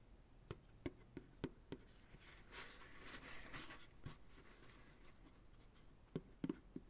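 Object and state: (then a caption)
Empty plastic ice cream pail. An empty white plastic ice cream pail, held upside down on a lap with its hollow bottom up, is tapped with the fingertips and short nails of both hands. Ten quiet, short, hollow taps with a low-mid knock are heard, five early and the rest spread later. Between them is a soft, bright scratching rustle.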